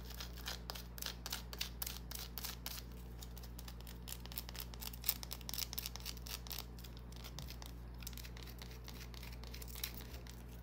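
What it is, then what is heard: Bar of soap scratched with fingernails. A small solid green bar of soap is scratched with long nails, giving a rapid run of dry, bright scraping strokes. The scratches come in quick bursts over a steady low hum that continues throughout.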